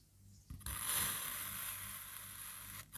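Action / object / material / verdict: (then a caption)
scrape / molded kinetic sand shape cut with a serrated knife / kinetic sand / none. A black serrated knife slices a solid, palm-sized molded crab of pink kinetic sand into thin layers, cutting it repeatedly. Two quick crunchy bites at the blade's entry lead into a long, steady, gritty scrape with a bright, hissy edge that runs for over two seconds before stopping abruptly.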